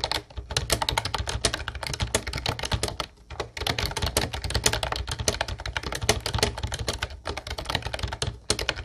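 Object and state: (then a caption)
Plastic typewriter-style keyboard. Both hands type rapidly with their fingertips on an Ubotie mint-blue plastic retro typewriter-style keyboard with round white plastic keycaps, resting on a wooden desk. A dense, steady stream of bright plastic clicks and clacks sits over a low thudding body, with brief pauses around the third and seventh seconds.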